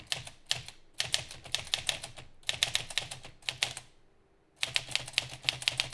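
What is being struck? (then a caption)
Metal manual typewriter. Both hands type rapidly with their fingertips on a green metal Olivetti Lettera 32 manual typewriter, with paper advancing in the carriage. Dense bursts of sharp, bright key and typebar clacks die away almost instantly, broken by a brief quiet pause before the rapid typing resumes.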